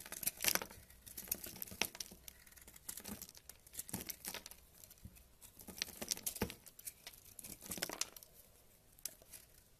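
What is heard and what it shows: A purple kitchen knife slices and scrapes chunks off a solid tan bar of soap held in the fingers. The result is a quiet, bright run of crisp, crackly scraping and shaving sounds, punctuated by short, sharp cutting clicks that stop quickly without ringing.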